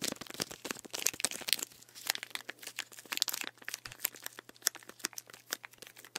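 Fingernails scratch and tap the body and plastic label of a full plastic sports drink bottle filled with green drink, held and moved beside the mic. A dense run of bright, crinkly clicks and scratchy rasps comes in quick, uneven bursts with almost no ring, over a faint steady low hum.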